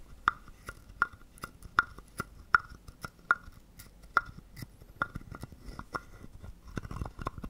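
A small hollow carved wooden frog guiro is held in the palm while a wooden stick is drawn across its ridged back in a scrape. Short, dry, clacky strokes with a woody tone near 1.4 kHz repeat at a loosely steady pace of roughly 79 per minute, each dying away almost instantly. The strokes grow softer and more scattered toward the end.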